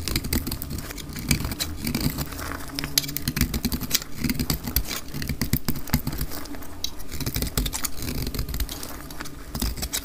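A solid oval pink bar of dry soap is held in the hand and cut into flakes with a metal utility blade. Rapid, crisp scraping and crackling clicks run continuously over a steady low rumble, with bright, short-lived edges on each cut.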